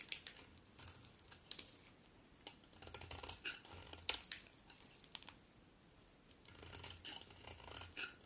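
A solid cream bar of soap is held in the hand and shaved with a metal utility knife blade, its scraping strokes peeling off curled flakes. Quiet, dry, bright scrapes and crackles come in short clustered bursts with brief pauses between strokes.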